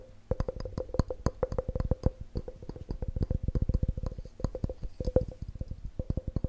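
An empty, hollow clear glass measuring cup with red markings is held close and tapped rapidly with fingertips and nails. The result is a fast, dense run of short, dull knocks over a faint, steady glassy ring.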